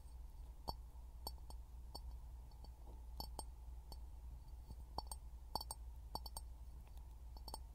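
An empty, hollow clear glass jar is held in both hands over a pin mic and tapped with fingertips and short nails. Quick, short taps ring around 860 Hz with bright upper glints, clustering in bursts over a steady low hum.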